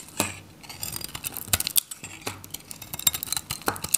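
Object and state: Dry bar soap.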